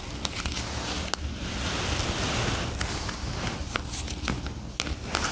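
Long acrylic nails tap and rub the glossy paper cover and pages of a solid paperback word-find puzzle book lying on a fluffy rug. A soft, steady papery rustle with a low rumble runs throughout. Sharp, bright nail clicks cut in at intervals and fade quickly.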